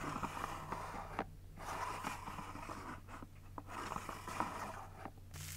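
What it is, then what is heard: Plastic drawer unit. Long nails tap and scratch a small white and clear plastic mini drawer unit, making about eight sharp clicks over a bed of dry scraping, and one drawer is pulled out. The sound is soft and close, with a plasticky tone near 960 Hz and a low steady hum underneath.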